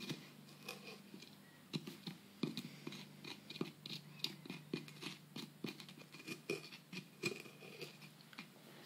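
A metal pick digs and scrapes into a solid plaster dig-kit block around a buried fossil, breaking off crumbly chunks. Quiet, dry crunches and sharp scratchy clicks repeat irregularly over a steady low hum, with brief bright ticks as pieces crumble away.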